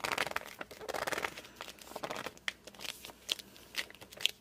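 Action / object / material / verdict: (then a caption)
scrape / glossy hardcover book cover / coated board / none. Hands grip and slide across the cover of a glossy hardcover book. Dense, bright crinkly rubbing fills the first second and a half, then gives way to sharp, separate high squeaks as skin drags against the slick surface.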